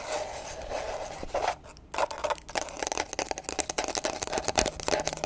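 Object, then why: Small hardcover book with paper pages. Extra long pointed acrylic nails tap and scratch along the page edges and hard cover of a small closed paper book held in the hands. A steady, bright, papery rasp runs for about a second and a half, dips briefly, then gives way to a quick string of sharp, dry clicks and short scrapes. Each hit dies almost instantly, with a midrange tone near 640 Hz.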